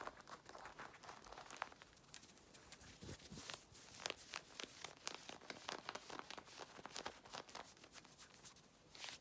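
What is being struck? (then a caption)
Denim jeans fabric. Long red nails and fingertips scratch and rub fast across dark-blue denim jeans being worn, working over the hip and thigh while a visible belt stays untouched. A dense run of quick, dry, bright rasping strokes with soft rubbing between them fills the clip, with almost no low end.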